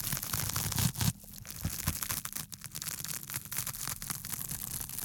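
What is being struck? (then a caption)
Thin porous foam sheet. Fingertips scratch and rub the textured surface of a small, flat, thin piece of solid pink porous foam or sponge sheet held in both hands close to the microphone. The result is a dense, crackly scratching rustle with bright hiss and a soft low rumble underneath. It is louder for the first second, then settles into a steady stream of quick, quieter scrapes.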